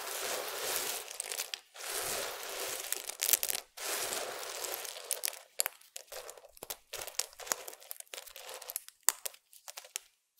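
Fingertips of both hands press, stir and crumble a large flat bed of small multicolored broken soap shavings and chips. Long bright, crinkly rustling passes with short pauses give way to a quicker run of sharp, dry crunches and crackles. The sound sits mostly high with almost no low end.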